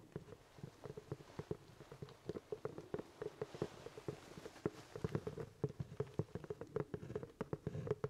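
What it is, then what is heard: Hollow leather top hat. Fingertips tap and scratch the crown of a hollow, empty black leather top hat held in both hands. The result is a quiet, steady patter of soft, dull, hollow taps with a low resonance around 420 Hz, mixed with faint scratching and very little bright content.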